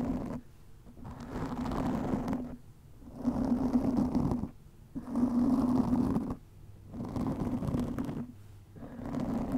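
Long nails scratch a black foam windscreen fitted over a microphone. The result is repeated bursts of close, muffled, rumbling rasping, each lasting a second or more and centred low around a steady buzzing tone, separated by short quieter gaps.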